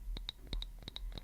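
A wooden object is tapped in a quick, irregular series of about eight hits. Each tap is a short, dry knock with a bright click that dies away fast.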